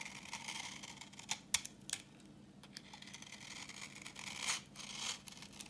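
A solid, translucent orange bar of dry vintage soap, held in the hand, is scraped with a utility knife blade, producing crumbly yellow shavings. The scraping sounds dry, bright and scratchy, with sharp crackling snaps near 1.5 and 1.9 seconds and a louder rasping pass around 4.5 seconds over a faint low hum.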